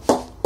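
A wooden cricket bat, gripped with both hands, is knocked twice as a bat knock test. Each knock is a short, hollow mid-pitched tock that rings briefly and fades.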